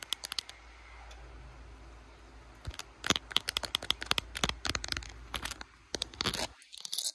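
Long blue acrylic nails fast-tap and scratch the back and camera lens area of a handheld smartphone in a clear glitter plastic case with butterfly decorations, seen in a mirror. A few crisp clicks give way to a soft, steady scratching, then a rapid, irregular burst of sharp, bright plastic taps with no ring. The taps stop abruptly near the end.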